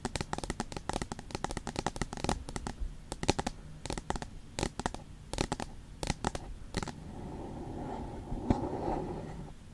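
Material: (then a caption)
Aluminium. Long pointed nails tap and scratch the smooth, flat aluminium back of an iPad. Rapid, sharp, dry clicks fill the first seven seconds, thinning into scattered taps. The sound then turns into a steadier, hissy scratching drag with a faint ringing tone.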